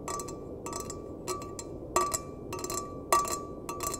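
A small, empty, hollow stainless steel mug, bottom turned outward, is tapped and scratched with fingertips and nails. Light metallic clinks and bright scratchy bursts recur in an uneven rhythm, each carrying a short ring near 1.2 kHz over a faint background hiss. Two taps stand out louder than the rest.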